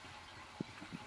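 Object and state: Nothing is struck.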